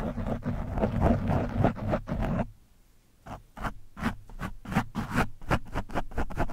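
A screwdriver tip pokes and scratches the surface of an orange foam microphone windscreen. Dense, close-up scratchy rustling with a heavy low rumble fills the first two seconds and stops for a brief near-silence. It then returns as a quick, uneven series of separate scraping strokes.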